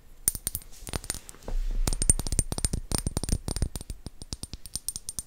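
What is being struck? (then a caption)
Small glass bottles. Fingertips tap on glass potion bottles in a quick, uneven run of light, sharp clicks. Each tap has a faint high glassy ring, with a brief soft low rumble partway through.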